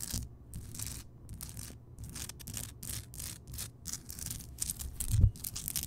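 Fingertips and long nails scratch across the bumpy surface of a large, solid, glowing Himalayan rock salt lamp. Repeated short bursts of bright, gritty scraping come over a soft low rumble, with one louder dull bump near the end.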